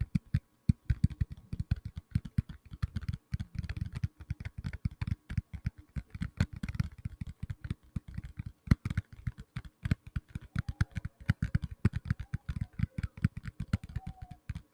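Fingertips tap rapidly on the back of a black tablet in a plastic case, making a dense, uneven stream of dull, low thuds with almost no ring. The taps come in quick bursts with brief pauses, and a few faint higher squeaks surface near the end.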